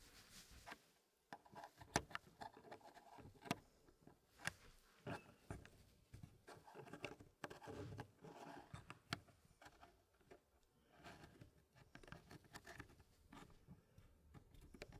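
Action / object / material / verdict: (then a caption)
tap / wooden puzzle tray and small wooden pieces / wood / none. Gloved fingertips press and slide small dark wooden polyomino pieces into a small square hardwood Elegance wood puzzle frame with a light wood base. The result is soft, clicky wood-on-wood taps with quiet sliding scrapes in between. The taps are dry and die away almost instantly.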